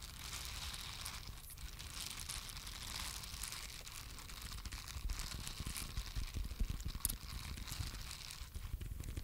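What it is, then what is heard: Silicone scrubber brush. Two identical small pink silicone cleansing brushes, flat and solid with soft silicone bristles, are held close to the microphone and scratched and tapped with long acrylic nails. A steady stream of crinkly, tearing-like scratches and soft taps runs throughout, with a low rumbling body and a bright hiss on top. The level is fairly even and quiet, growing a little busier and louder in the second half.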